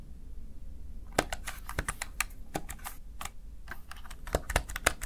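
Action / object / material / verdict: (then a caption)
tap / plastic gaming keypad / plastic / none. A Razer Tartarus Chroma, a small backlit plastic gaming keypad, has its keys pressed by the fingertips of one hand. After about a second of quiet low hum, roughly nineteen short, bright plastic clicks and taps follow in an uneven, quick rhythm, each dying away almost instantly.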